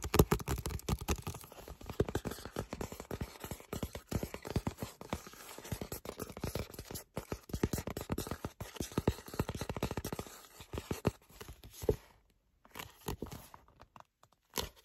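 Fingertips and nails rapidly tap and scratch the glossy card cover of a solid paperback book, making a dense stream of short, dry, low-heavy clicks and scrapes. Near the end, the sound thins into a few scattered taps separated by brief silences.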